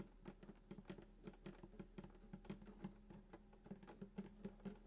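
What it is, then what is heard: Acoustic guitar body tapped. Fingertips tap the wooden top around the bridge of a hollow sunburst acoustic guitar lying flat. A quick, irregular run of soft, short knocks rings briefly with a hollow body resonance near 195 Hz, over a low steady hum.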